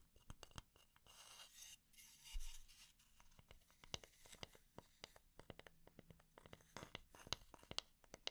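A wooden spatula is tapped at slow and medium speed and scratched for ASMR. Sharp, quiet taps with very short ring are interspersed with brief, hissy scratching passages, recorded close and soft.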